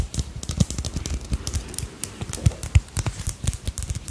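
A small hand-embroidered dragonfly brooch with purple crystals, glass beads and a dangling bead tail is held in the fingers and scratched and tapped with long acrylic nails. Quick, irregular dry clicks and scratchy ticks follow one another rapidly, each dying away almost instantly, with soft low thumps beneath bright, glassy bead clicks.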